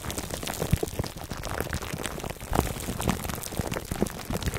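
Fingertips and nails scratch the sides of a foam microphone cover wrapped in clear plastic, held close. The result is a dense, continuous crinkling and scratching with many quick, brief clicks and rustles, mostly low and muffled with occasional bright crackles.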